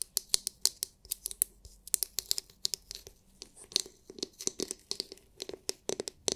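Long nails scratch and tap a palm-sized oval massage brush with a hard, clear, glitter-filled plastic dome and plastic bristles. About thirty quick, bright clicks ring out between soft scratchy rasps, each one dry and dying away almost instantly, with almost no low end.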